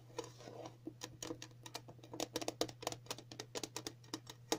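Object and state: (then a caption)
Metal tin tapped with nails. Several long natural nails tap across the lid of a round, flat, printed metal tin for a dog flea collar, hollow and lying on a table. About twenty quick, irregular, light clicks each carry a brief hollow metallic ring near 500 Hz that dies out almost at once, over a steady low hum.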